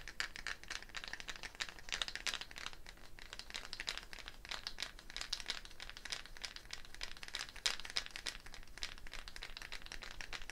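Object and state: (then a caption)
Gourd shaker with wooden bead net. A hollow dried gourd shaker with a wooden bead net is held up and shaken, the wooden beads rattling against the shell. The result is a steady, dense stream of short, bright rattling clicks over the whole clip, with a few louder accents and no clear pauses.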